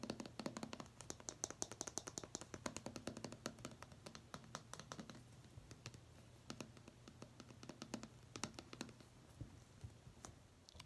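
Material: Plastic.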